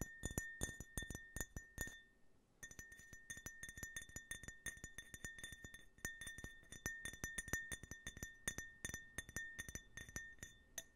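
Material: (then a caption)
Glass. Fingernails tap rapidly on a small, hollow, empty printed glass tumbler with an American flag design, held sideways. Quick bright clinks ring at a steady tone near 1.8 kHz, with a short pause around two seconds before the tapping resumes.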